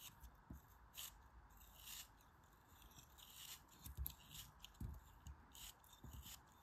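A hand-held rounded lump of solid kinetic sand is shaved and scraped with a metal craft knife, with the grains falling away. Soft, irregular scraping strokes bring bright, hissy bursts of crumbling grains over low thumps, on a quiet background.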